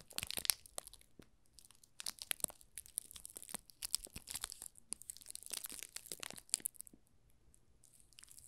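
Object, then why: Soap bar wrapped in thin plastic film. Fingertips press and rub the thin clear plastic film wrapped around a small solid pink rose soap bar, making it crinkle. Bright, dry crackles and crinkling snaps come in uneven bursts throughout, with brief quieter gaps between clusters.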